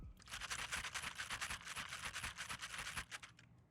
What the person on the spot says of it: the switches and key caps move so easily that just resting your fingers on the Caps moves them enough to make a loud audible rattly noise